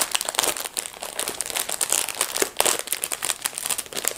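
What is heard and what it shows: Hands in black fabric gloves tear open and peel back the thin plastic wrapper of a full, blue plastic-film packet of disposable gloves lying flat. Dense, bright crinkling and tearing of the plastic film comes in quick, sharp bursts with almost no low end.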